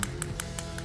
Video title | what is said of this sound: Anatomy of Mikuni Carb : Pro Tip | that's not really my finger that's the slide making that noise